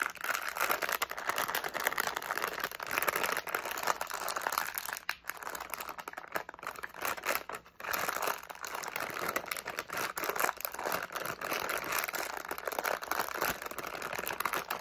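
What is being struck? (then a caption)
Flexible plastic candy pouch with candies inside. A medium, flexible plastic SweeTARTS candy pouch, partly filled with candies, is crinkled and shaken by fingers and nails. The result is a dense, continuous bright crinkle with rattling candies inside, keeping a steady level apart from brief lulls around 5 and 7.5 seconds.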